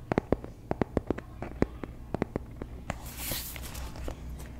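Long nails tap quickly on a medium-sized dark blue hardcover paper planner marked PLANS, with white paper pages, held in the hands close to the mic, making a run of sharp, dry clicks. The planner is also opened and closed, which brings a brief papery swish and soft rustle before a few last light taps.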